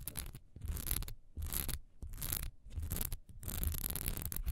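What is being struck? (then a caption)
Textured wax pillar candle. Long nails scratch quickly over a single solid wax pillar candle with a raised texture, which is held sideways and then set upright. The result is a series of rough, dry scraping strokes with a bright hiss, carried over a heavy low rumble, pausing briefly between strokes.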